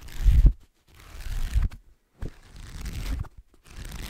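Fingertips and nails scratch the page block edges and cover of a black paperback book. Four dull, low, rustling scratch bursts are separated by brief silences.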